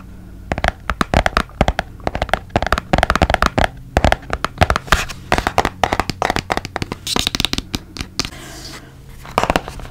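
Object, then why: Small cardboard box. A small, hollow, white and blue printed cardboard box is held beside the mic and tapped with fingertips and nails. Quick dry taps come in uneven bursts, each a soft hollow thump with a bright clicky edge that dies away almost at once. A faint low hum runs underneath throughout.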